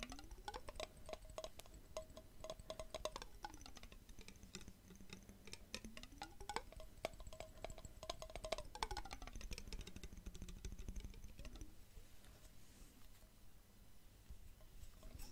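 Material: Glass.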